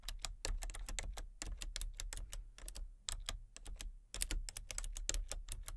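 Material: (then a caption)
Plastic. Fingertips and nails rapidly tap the letter keys and numpad of a full-size plastic computer keyboard with a colour-changing backlight. The bursts of sharp, bright clicks come in uneven flurries with brief pauses, over a steady low hum.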